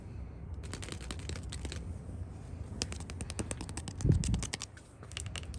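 Long nails tap and scratch along the white-painted solid wooden top rail of a porch handrail in a quick, clicky rhythm. Sharp, bright clicks ride over a steady low rumble. A louder, fuller scrape swells briefly near the end before the tapping resumes.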